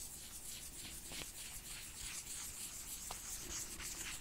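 A wooden stick rubs and scratches across the bumpy surface of a red, textured faux ostrich leather wallet. The result is a quiet, steady, bright scratchy rasp with a hissy high edge and a few faint sharper ticks, in loose repeated strokes throughout.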